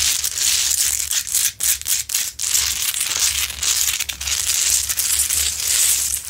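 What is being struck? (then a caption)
Large rock-salt lamp. Long nails scratch the rough top and sides of a large, lit, solid rock-salt Himalayan salt lamp. The result is a dense, continuous, bright gritty scraping with quick rasping strokes and brief pauses, almost no low end, and a faint steady low hum underneath.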